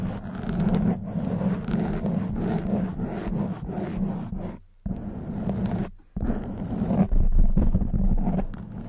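A black foam windscreen on a silver microphone is scratched with long white nails, making a dense, rough scraping rustle with a deep low rumble underneath. The scratching runs in rapid, uneven strokes, with two brief near-silent breaks before it resumes.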